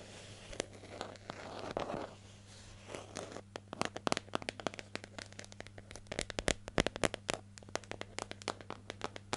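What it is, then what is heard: Plastic jar, hollow. Long nails scratch and tap the lid and side of a hollow, medium yellow plastic hair gel jar with a lid, held in the hand. Soft, breathy scratching swells fill the first few seconds, then give way to many quick, dry, bright clicks. A faint steady low hum runs underneath throughout.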